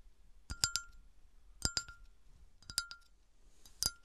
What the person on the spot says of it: tapping with some bassy scratches